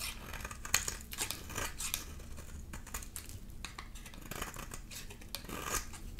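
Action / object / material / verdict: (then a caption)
scrape / soap bar scraped with a metal blade / soap / none. A solid oval bar of dry green soap, held in the hand, is scraped and carved with a black metal grater-like blade tool, hollowing out a scraped face as green shavings pile up underneath. Quick, crisp, dry scraping and shaving strokes come in a steady run of short bright bursts, with a few sharper rasps standing out.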